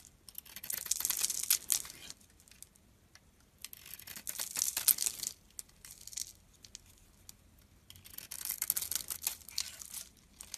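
A metal utility blade slices the shiny pink coating off a solid oval bar of soap held in the palm, revealing the cream soap underneath. The result is crisp, bright scraping and crackling in bursts, separated by quiet pauses.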